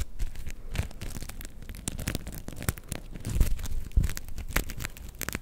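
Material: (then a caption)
Sequins. A black and gold sequin fabric star is held close and scratched and brushed with long nails and fingertips. Dense, irregular crackling and crinkling rustles come in quick short bursts, with brief sharp clicks standing out over a low rumble.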